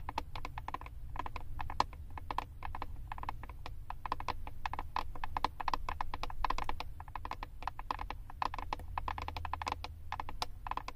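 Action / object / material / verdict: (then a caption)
tap / flat plastic eyeshadow compact tapped with long nails / plastic / none. Long acrylic nails tap rapidly on the back of a flat, hand-sized Wet n Wild plastic eyeshadow compact with a paper label. The result is a steady stream of short, dry clicks with a hollow tone around 1 kHz and almost no ring. A constant low rumble sits underneath.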